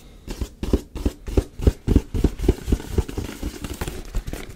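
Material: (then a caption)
Cardboard. A hand-sized, printed black cardboard retail box for a Yeti microphone, apparently with the microphone still inside, is held in one hand and tapped with the fingertips and nails of the other. About twenty quick, dull, hollow thumps land in a loose, uneven rhythm, each deep and dying away almost at once, with only a faint papery click on top.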